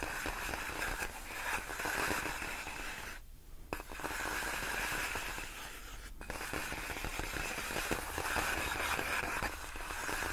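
Long nails slowly scratch and rub across large, clear, inflated plastic air-column cushion wrap made of hollow air-filled tubes. The result is a steady, dense crinkling scrape with squeaky, bright rubbing and a short quiet pause around the three-second mark before the scratching resumes.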